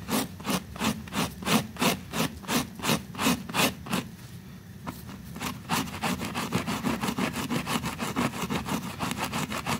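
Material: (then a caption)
Fabric. A small, flat pink woven textile rug sits in soapy water, held down by a finger and scrubbed vigorously with a white bristle brush. Steady back-and-forth strokes make bright, wet, hissing rasps with a low rumble underneath. After a brief quieter pause, the strokes resume faster and lighter.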